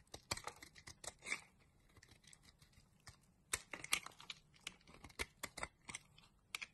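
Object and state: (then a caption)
Soap bar being shaved. A solid pink soap bar held in hand has its surface shaved with a flat black blade, sending curls and crumbs off it. Quiet, bright, dry scraping and crackling strokes come in quick clusters, with a lull in the middle. Each stroke stops short with almost no ring.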